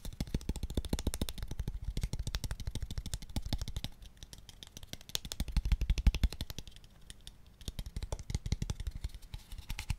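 A small, hollow, pale wooden square tube box, empty, is tapped rapidly with fingertips and nails. It gives a dense stream of quick, dry clicks with a low, hollow thump. The taps dip quieter around four and seven seconds and peak near six seconds, each dying away almost instantly.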